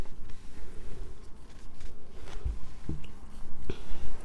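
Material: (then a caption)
Soap. A solid light-blue bar of soap is scratched and scraped with long nails while held near a table over soap shavings. The sound is a dense, low, crunchy scratching with a few short, soft thuds.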